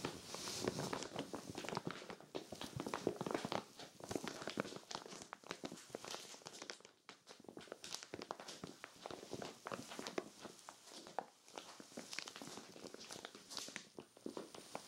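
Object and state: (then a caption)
Plastic storage bag scratched. Long-nailed fingers scratch and rub the plastic film of a clear vinyl zippered storage bag full of cream knit sweaters. The result is a steady, quiet stream of dense crinkles and sharp scratchy ticks spread across mid to bright frequencies, briefly softening around the middle before picking back up.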